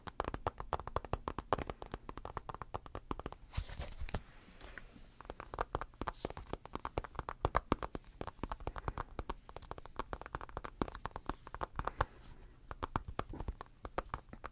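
Fingertips and short nails tap rapidly across the flat glass screen of a tablet in a blue rubber case, held upright. The quick, dry taps each have a dull low thud and a mid-pitched click that stops almost instantly. They come in dense, uneven bursts, with a brief softer, scratchier stretch near the four-second mark.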